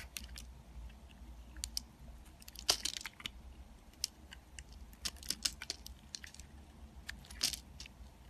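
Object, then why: Bar of soap scraped with a metal blade. A metal box-cutter blade scrapes and carves crumbly chips off a small, solid, green-and-white striped soap bar held in the fingers. The result is a run of crisp, dry, bright scraping crackles and crunches over a faint low hum, with sharper louder cuts standing out now and then.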